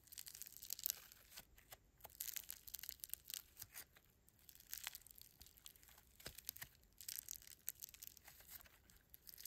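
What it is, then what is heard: Foam bead slime (floam). Fingertips squeeze, fold and pull apart a palm-sized lump of foam bead slime (floam), pastel foam beads in a solid, pliable slime. Quiet, bright crunchy and crinkly crackles come in dense, uneven bursts, mostly high with almost no low end.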